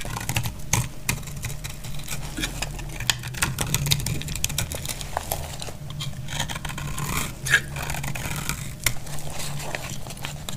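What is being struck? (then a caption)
Soap bar cut with a metal blade. A solid, dried, pale blue oval soap bar is cut down and sliced with a metal snap-off blade held in the hand. Dense, dry crackling and short scraping clicks run throughout over a steady low hum, with a couple of sharper, louder snaps near the end.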